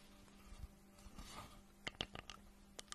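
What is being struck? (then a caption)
Glazed ceramic mug. Long nails scratch softly across a hollow pink glazed ceramic octopus mug held in the hands, then tap it rapidly. The quiet scratching in the first half gives way to six sharp, bright clicks with almost no ring, over a faint low hum.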